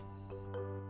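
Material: Nothing is struck.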